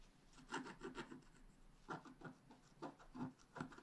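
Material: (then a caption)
Waxed paper. A wooden stylus scratches fine strokes into the mane of a drawing on a black wax-coated scratch art paper sheet held flat. About nine soft, dry, raspy scratching strokes come in short bursts with brief pauses between groups. The strokes sound quiet and close, with a brushy hiss over a low-mid body.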